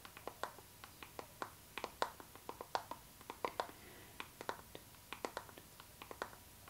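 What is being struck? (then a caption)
Clear PVC vinyl zipper pouch. Long nails tap and scratch a clear pink PVC zipper pouch, a transparent pink vinyl bag held horizontally in both hands. About 26 quick, dry plastic clicks come at an uneven pace, each with a short, bright crackle that dies almost instantly. A faint tone near 930 Hz runs underneath, with soft scratching between the taps.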